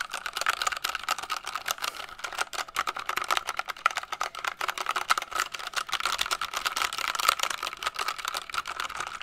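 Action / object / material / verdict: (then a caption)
tap / compact plastic mechanical keyboard / plastic / none. Fingertips and long nails rapidly tap and press the keys of a small purple and blue compact plastic mechanical keyboard with a hollow case, held up in one hand. The result is a dense, continuous stream of sharp, clacky clicks with a hollow, plasticky tone centered around 1.3 kHz, a bright top, and almost no low end. Each click dies away instantly.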